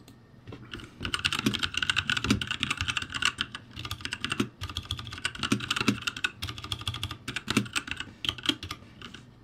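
Two hands type with their fingertips on a backlit ROCCAT G65 mechanical keyboard with plastic keycaps. A steady run of bright, crisp key clacks carries faint low thumps, with brief pauses around 0.5 and 4.5 seconds.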